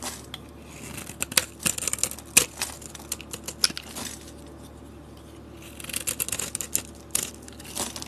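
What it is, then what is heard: Bar soap being scraped. A box-cutter blade scrapes layered shavings off a solid white bar of soap held in the hand. Bursts of crisp, bright scraping and crackling come in quick clusters, pause briefly in the middle, then resume toward the end, with very little low end.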